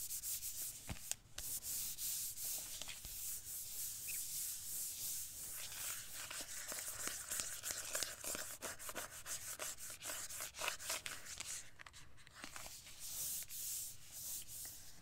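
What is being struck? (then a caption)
Cardboard-covered eyeshadow palette. Long manicured nails and fingertips scratch and rub across the lid of a closed, flat rectangular cardboard-covered eyeshadow palette with a floral print, held on a table. A steady, bright scratching and rubbing texture runs throughout, dotted with quick, sharp ticks and scrapes.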